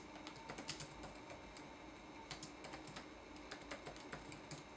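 Fingertips press the plastic keycaps of a red-backlit laptop keyboard in dense typing, about 16 quiet, bright clicky taps over a steady low hiss. The taps come in short bursts with brief pauses between them.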